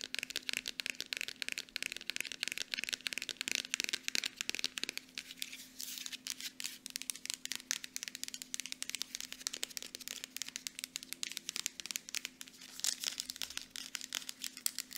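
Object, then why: Small plastic bottle. Long nails tap quickly on the front and back of a small Aveeno plastic lotion bottle. The result is a dense, continuous stream of short, dry, bright clicks with almost no ring, over a faint steady low hum.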